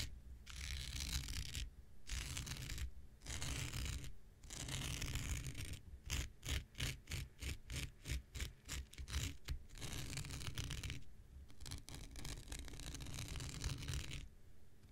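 An X-Acto knife blade scratches across a thin, blue, hand-sized non-woven synthetic fiber scouring pad held in the hand. Long, bright, raspy scraping strokes separated by short pauses give way midway to a quick run of short, choppy scratches, then return to longer strokes over a low, steady rumble.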